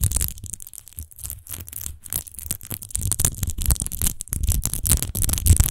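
Long nails scratch fast over the embossed, textured glass base of an empty wine bottle lying on its side. The result is a dense, rapid run of dry scratching bursts with bright high hiss and a low rumbling body.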